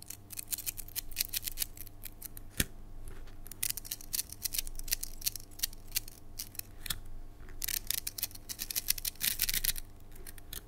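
A red translucent hollow plastic coil spring toy is held between both hands with long nails and shaken so the coils stretch, collapse and click together. Rapid, bright plastic clicks and rattles come in uneven bursts, busiest near the end, over a steady low hum.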